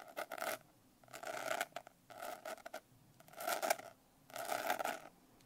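Long nails scratch across the rough surface of a medium notebook with a coarse blue glitter cover, held upright. Five main scratching strokes, each under a second, come through as quiet, gritty rasps with a bright midrange hiss, separated by short ticks and brief silences.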